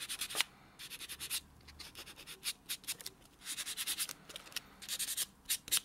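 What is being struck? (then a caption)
Foam nail buffer block on a natural fingernail. A small, solid, white rectangular foam-core nail buffer block is held in the fingertips and rubbed back and forth over the short natural fingernails of the other hand, which rests flat on a dark textured surface. Each stroke makes a soft, bright, hissy scratch with almost no low end, and the strokes come in quick runs separated by short pauses. The repeated buffing rub stays quiet and dry throughout.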